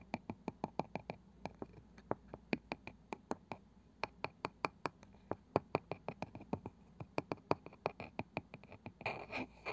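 Long nails tap quickly and steadily on the light wooden lid of a small round box with a woven cane side, likely hollow, producing dozens of short, dry, bright clicks with almost no ring. Near the end the tapping gives way to a brief, noisy scratching on the lid.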